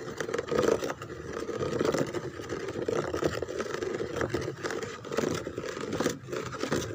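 Long-nailed fingertips scratch and scrape across the raised rose pattern and holes on the back of a white molded plastic chair. The result is a continuous, dry, crinkly scraping with a hollow midrange body, rising and falling as the nails drag over the relief.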